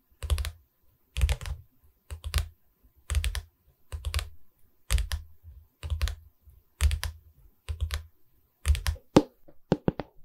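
Long red nails on both hands tap rapidly along the top edge of a light pine canvas frame standing upright in front of the mic. The clip has short clustered bursts of dry, woody clicks with a deep thumpy body and a bright click on top, separated by brief pauses. The final few taps sound sharper and more spread out.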